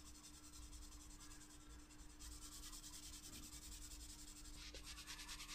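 A wooden graphite pencil, held by the fingertips, makes rapid shading strokes on a leaf drawing in a spiral-bound paper sketchbook lying flat on a desk. The quiet, continuous scratchy rubbing is bright and hissy, growing denser after about two seconds and again near the end, over a faint steady low hum.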